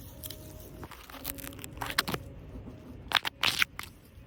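A plastic artificial grass decoration in a cafe is scratched and rubbed, giving short, bright, crunching and crinkly tearing bursts that grow louder toward the end. A faint steady tone hums underneath.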